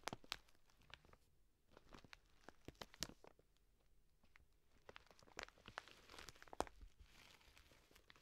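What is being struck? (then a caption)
Plastic bag of dry lentils. A full plastic bag of dry green lentils is scratched and squeezed with long nails. The sound is a quiet, crinkly plastic rustle with scattered sharp, bright clicks and grainy crunches from the lentils shifting inside.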